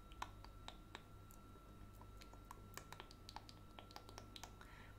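Long painted nails tap repeatedly on a small blue glass nail polish bottle with a black plastic cap, held in one hand and apparently full of polish. The result is a quick, uneven run of quiet, sharp clicks; some have a brief glassy ping near 1 kHz. They sit over a steady low hum and a faint constant tone.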